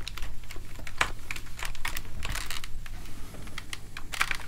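A plastic gaming keyboard is held vertically while a palm and fingertips rub and press across its keys, making them clack. Quick, dry plastic clacks and rustling scrapes come in a steady, uneven stream over a faint, constant low hum.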